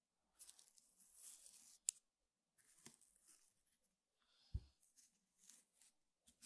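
A flat, square woven rattan table mat is poked and scratched across its weave with the bristle tip of a small makeup brush held in one hand. Bursts of bright, dry scratching alternate with quiet gaps, punctuated by a few sharp taps, including one low, thudding poke.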